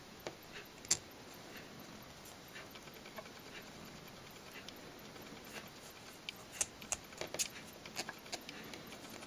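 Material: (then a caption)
Glass. Long nails tap a small, full, square glass Nails Inc nail polish bottle with white polish and a black cap, held in the hand. Quiet, sharp, bright clicks come at an irregular pace over a soft hiss, each dying away almost at once, with a few louder taps near the start and toward the end.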